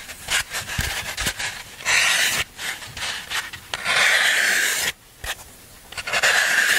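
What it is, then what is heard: Floral foam block being scraped. A hand holds a solid green floral foam block while a black tool scrapes along its rounded surface, shaving off foam. The scraping comes as irregular bright, crunchy rasping strokes, some short and some drawn out, with brief near-silent gaps between them.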